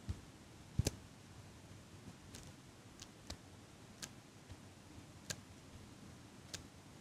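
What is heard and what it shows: A small chrome metal eyelash curler is held in front of the mic while long pink nails click its handles and tap its metal frame. Eight short, dry, bright clicks and ticks are spread unevenly over a quiet, low rumbling background, each dying away almost instantly.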